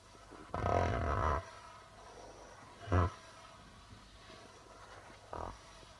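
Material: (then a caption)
Plastic. Fingertips tap the white plastic membrane of a hollow darbuka drum, producing three deep, resonant thumps. The first is a long, humming swell, followed by a short boom and then a softer one, with quiet gaps between them.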